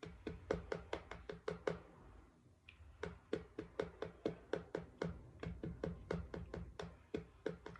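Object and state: Cardboard book cover.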